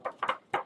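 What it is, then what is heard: Flexible lightweight cardstock. A sheet of 65 lb cardstock is flicked three times, each flick giving a quick, light papery snap that fades almost at once. The soft, low-ringing sound shows how flexible the sheet is, unlike stiffer 110 lb cardstock.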